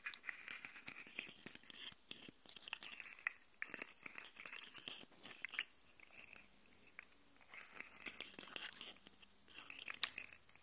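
Fingernails scratch along the segment ridges of a hollow, segmented rainbow plastic articulated slug fidget toy held upright, and its segments are bent so they click. The result is a dense, quiet stream of bright, crisp clicks and dry scratching with almost no low end, easing briefly around the middle before picking up again.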